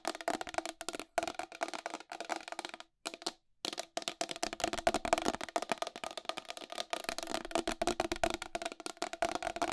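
Long acrylic nails tap fast on the face cover and rim of a round white plastic wall clock with a hollow case. The rapid, sharp clicks die away almost instantly and carry a hollow midrange tone. Brief pauses break the run near 1 and 3.5 seconds.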